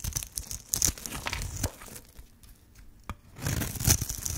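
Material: Soap.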